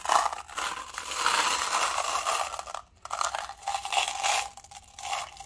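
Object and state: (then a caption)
Plastic cup with metal balls. A small, hollow, clear plastic paint cup partly filled with small silver steel balls is held between the fingertips and swirled and shaken. The balls roll and rattle inside with a dense, bright, gritty clatter centered around 1 kHz. The rattle drops to near silence for a moment just before 3 seconds, then resumes in uneven swells.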